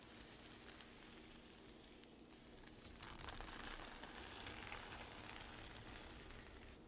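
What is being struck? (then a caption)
Sequin-covered fabric pouch. Long nails scratch and flip the reversible rainbow and silver sequins covering a flat zippered pouch, with some fingertip tapping. A soft, crackly scratching grows into a louder, brighter, dense sizzling rustle about halfway through and stays steady to the end.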